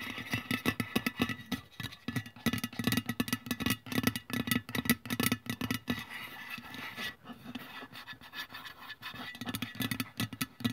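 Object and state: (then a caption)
Aluminium deodorant can tapped and scratched with nails. Long press-on nails tap and scratch along the printed body of a hollow aluminium aerosol deodorant can lying on its side on a wooden table. Quick, irregular clicky taps mix with scraping strokes, giving a dry hollow tone with very short ring and a pitch near 234 Hz. The sound comes in bursts with a few quieter stretches.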